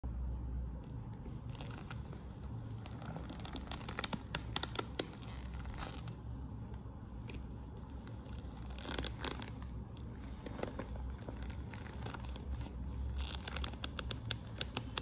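Long manicured nails and fingertips scratch and rub the front flap of a medium-sized, hollow, glossy burgundy quilted patent faux-leather (vinyl) handbag with small metal studs. The result is a steady, soft scratching and crinkling texture over a low, dull rumble, with scattered brief bright ticks throughout.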